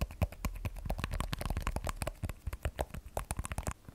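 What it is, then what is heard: Glass and steel smartphone tapped with nails. An iPhone 12 Pro, a solid phone with a glass back and stainless steel frame, is held sideways and then turned on edge while long nails tap and scratch along the steel frame. A rapid, uneven run of short, dull clicks and taps sounds, each dying away almost instantly, with a low, thumpy body and faint bright scratching between them.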